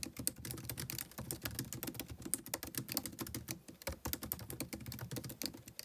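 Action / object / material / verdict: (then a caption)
tap / laptop keyboard, plastic keys / plastic / none. Fingertips type continuously on a MacBook Pro keyboard with white plastic keys set in an aluminum body. The result is a rapid, steady stream of crisp, bright key clicks over soft low thuds, each tap dying away almost instantly.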